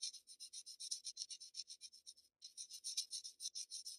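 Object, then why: Graphite pencil on Bristol paper sheet. A black wooden graphite pencil scratches quick shading strokes along the lower edge of a flat Bristol paper sheet. About 28 short, dry, bright rasping strokes come in a loose rhythm, with a brief pause just before the halfway point. The sound is quiet and thin, with no low body.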